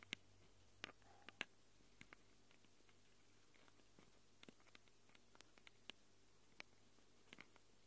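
Long acrylic nails scratch and tap the microphone capsules of a small handheld Tascam recorder with a plastic body and metal-rimmed capsules. About seventeen brief, sharp, bright clicks and scrapes come at an irregular pace over a quiet, steady low hum, each stopping almost instantly.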